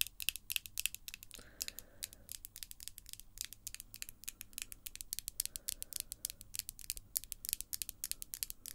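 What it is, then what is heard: Acrylic false nails tapping together. Long, glossy acrylic false nails tap tip-on-tip against the nails of the other hand in a fast, uneven stream of sharp, bright clicks. Each click dies away almost at once, with faint low background noise underneath.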